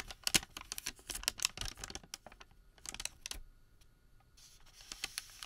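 Fingers stretch, twist and crinkle a long Home Depot thermal paper receipt that has been twisted into a rope. The sound is a quiet, rapid run of sharp, bright crackles and clicks with almost no low end. A softer hissy rustle comes near the end.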